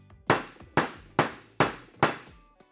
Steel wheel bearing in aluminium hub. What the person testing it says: vous pouvez entendre le son de la tonalité actuelle et une fois que cette tonalité change, vous êtes au bas de le hub